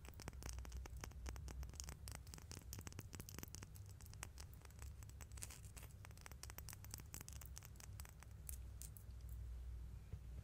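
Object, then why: Small metal coins. Two small solid metal coins, one held in each hand near the microphone, are tapped and scratched with long nails and fingertips. Quiet, rapid, bright clicks and scratchy ticks run continuously over a steady low hum. The sound stays close and crisp throughout.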